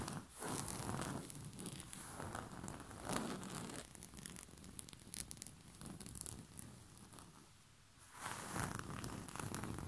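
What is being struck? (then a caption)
Cotton bed sheet over a padded surface. A white cotton bed sheet with a purple rose print, bunched over a soft padded surface, is scratched and rubbed with the short fingernails and fingertips of both hands. It makes quiet, steady bursts of soft rustling and bright scratching, which fade to near silence just before 8 seconds and then pick up again.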